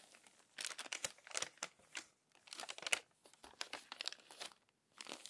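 Long-nailed hands smooth the crinkled pages of an open, crumpled paper magazine and turn one. Dense, bright crinkling and rustling come in bursts of sharp, short crackles, separated by brief near-silent pauses.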